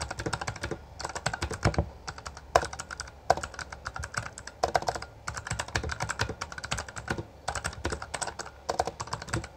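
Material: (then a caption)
Plastic. Both hands type quickly with the fingertips on a Bloody B820R, a full-size backlit mechanical keyboard with plastic keycaps. Rapid, crisp plastic key clicks and clacks come in dense bursts separated by brief pauses. Each keystroke ends almost instantly, with a mid-pitched tap over a low thud.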